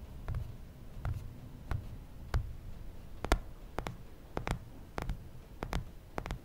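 An original iPhone, a small solid phone held in one hand, has its glass screen and metal bezel tapped and rubbed by fingertips and nails. Sharp, short, bright clicks and ticks come at irregular intervals and die away almost instantly. They sit over a quiet, low rumbling background.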